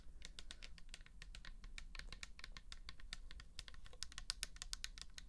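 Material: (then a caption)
Plastic. Long nails on both hands rapidly tap a pink plastic toner bottle that holds liquid. The taps are quick, dry, bright clicks that die away almost instantly, with a steady low hum underneath throughout.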